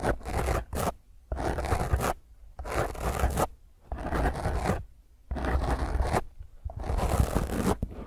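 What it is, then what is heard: Foam microphone windscreen being scratched. Long fingernails scratch a small, rounded black foam windscreen on a microphone, first with one hand and then with both. The result is loud, rough, rustling scratching with a heavy low rumble, heard in repeated bursts separated by short quiet pauses.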